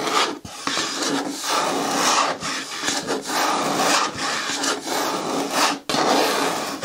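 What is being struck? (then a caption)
Hard plastic bin with lid. Long fingernails scratch slowly across the side wall of an upright green hard plastic bin with a lid. The result is a steady, bright rasping scrape that rises and falls with each stroke, broken by a couple of brief pauses.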